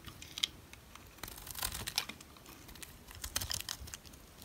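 A utility knife shaves thick flakes off the face of a solid brown rectangular dry soap bar. Quiet, dry scraping and crisp crackling come in irregular bursts, with bright sharp ticks as flakes break away.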